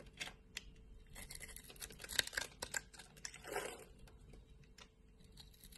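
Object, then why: Bar of soap cut with a knife blade. A utility knife blade slices and scrapes thin layers from a solid, pre-scored light-green bar of soap held in the palm. The result is quiet, dry, crisp scraping with sharp clicky snaps and bright hiss, and a longer rasping scrape near the end.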